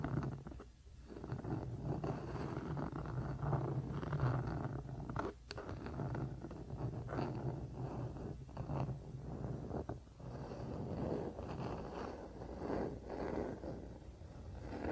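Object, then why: Wooden paddle hairbrush. A wooden paddle hairbrush lies face down on a blanket while both hands slowly scratch along its wooden back with their nails. The result is a soft, continuous, muffled scratching and rubbing, weighted toward low tones with almost no bright content, swelling and dipping as the strokes change.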